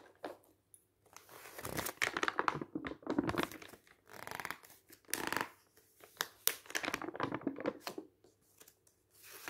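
A thin newsprint-style paper booklet lies open on a table while fingertips riffle and turn its pages. A dry, crinkly rustle comes in repeated bursts separated by brief pauses, with bright crackle on top and almost no low end.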